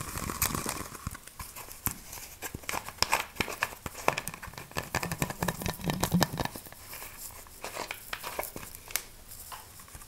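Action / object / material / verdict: tap / plastic soda bottle / PET plastic / none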